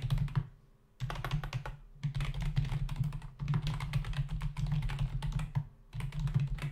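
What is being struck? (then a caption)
Plastic membrane computer keyboard. Fingertips of both hands type on a black plastic membrane computer keyboard resting on a desk, its hollow body carrying plastic keys. Quick bursts of soft, dull clacking taps alternate with brief pauses. Each keystroke is short and dry, with a low hollow thump underneath.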